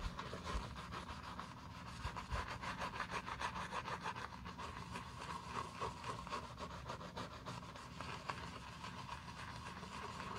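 A wooden bristle brush scrubs back and forth over the foamy side of a black leather loafer. The sound is a steady, rhythmic scratchy rubbing with a bright, wet bristly texture and a faint low rumble underneath.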